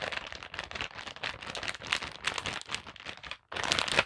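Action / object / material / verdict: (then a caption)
scrape / plastic zip pouch / plastic / none. Long black nails tap and scratch the front of a holographic plastic zip pouch lying flat, with a printed card and metal hoops inside. Bright, dense crinkling and scratchy rustling run almost continuously, broken by a brief silence near the end before a louder final burst of crinkles.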